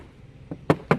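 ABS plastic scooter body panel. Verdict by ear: Hollow.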